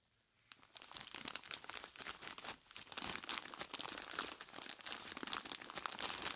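Hands in blue nitrile gloves squeeze and rub a large clear plastic bag full of ice cubes with their fingertips. After a brief quiet start, dense, bright crinkling and crunching runs continuously as the plastic crackles and the cubes shift and grind against each other.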